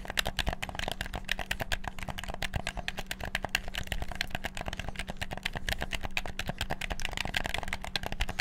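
Fingertips rapidly click the buttons of a hollow black PS4-style plastic gamepad. The result is a dense, continuous stream of sharp, dry plastic clicks with no ring. A steady low hum sits underneath the clicks.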